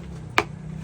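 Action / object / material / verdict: tap / pressed areca palm leaf sheath plate / areca leaf / hard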